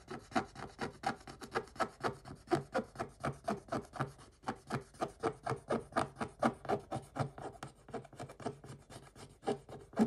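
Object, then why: Scratch-off coated paper page scraped with a wooden stick. A wooden stick scrapes the coating off a scratch-off coated paper page near a printed dog figure, with the hand close by. It makes a steady run of short, dry, raspy strokes, about two per second, with little low or bright content and each stroke dying away quickly.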